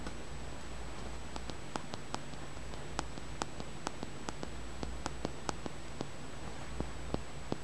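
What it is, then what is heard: Polished tumbled stone. Fingernails tap and scratch the surface of a small, solid, polished, dark grey-green rounded tumbled stone held up close. Quiet, sharp clicks ring out in an irregular series over a soft low hum and a faint steady high tone.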